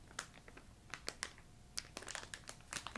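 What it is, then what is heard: Plastic candy bag being crinkled. Fingertips with long nails crinkle a filled yellow plastic ginger candy bag. About fourteen sharp, bright crackles and snaps rise over a soft, quiet rustle, each dying away almost at once.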